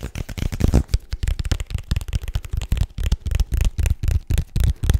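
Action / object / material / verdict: tap / small rigid paperboard box / paperboard / none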